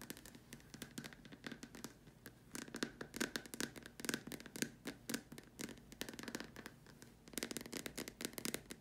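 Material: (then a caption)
Plastic. Long dark nails tap and scratch the upper surface of a large, hollow, white plastic dome lamp shade. Rapid bursts of crisp, bright clicks mix with scratchy scraping, and a light hollow plastic resonance sits under them. Each tap dies away almost instantly, and quieter stretches fall between the flurries.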